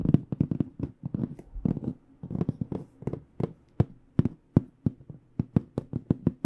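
Long nails tap the black panel face of an AKG aluminum-framed hard microphone case held flat. The result is a quick, uneven run of dry, clicky taps with a low-mid body and bright edges, each dying away almost at once.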